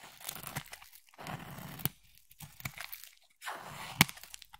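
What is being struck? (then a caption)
Bar of soap cut with a knife blade. A utility knife blade slices and scrapes a solid pink bar of soap, with flakes crumbling off. Bursts of dry, crumbly scraping and gritty crinkling alternate with short pauses, broken by a few sharp, bright clicks as the blade cuts through.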